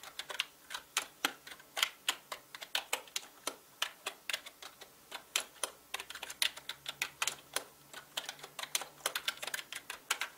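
Fingertips type fast on a full-size black mechanical gaming keyboard with plastic keycaps and a hollow plastic body. About fifty sharp, bright, clacky keystrokes come in quick, uneven bursts, each one dying away almost instantly.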